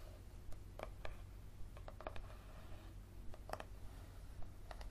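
Fingernails scratch the card back cover and spine of a yellow paperback book held edge-on. A quiet series of short, dry scratches and sharp clicks comes at an uneven pace, with a faint tone near 620 Hz over a steady low hum. Each sound stops almost instantly with no ring.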